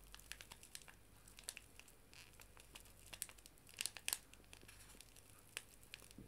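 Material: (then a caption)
Paper. A small, flat paper tea bag sachet is held in both hands and crinkled and squeezed with the fingertips and nails. Quiet, bright, crisp crackles and short crinkling ticks come in an irregular stream, with a cluster of louder crunches around the four-second mark. Each snap ends almost instantly, leaving only a faint low hum underneath.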